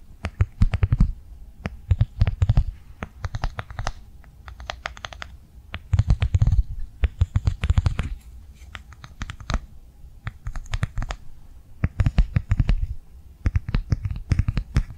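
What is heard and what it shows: Long nails tap and scratch quickly on a flat blue rectangular plastic cardholder held in the hands. Dense bursts of crisp, bright clicks over a dull low thump come in clusters, separated by short quieter stretches of soft scratching.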